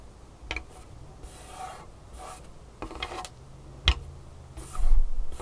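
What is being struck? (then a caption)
Wooden table top scratched and tapped with fingernails. Long painted fingernails on both hands tap and scratch across the surface of a large, solid, dark wooden tabletop. Soft, airy scratching strokes alternate with a few sharp, dry taps, one especially crisp near the end, over a faint low hum. The scratching grows denser and louder in the last second.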